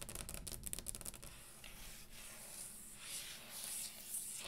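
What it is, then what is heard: Wooden table top. Long green acrylic nails on both hands tap and scratch the top of a round, solid brown wood-grain dining table. A quick run of dry, clicking taps with short decays fills the first second or so, then gives way to a quieter, hissing scratch across the grain with brief, brighter swells of rasping.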